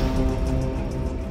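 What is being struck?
Nothing is struck.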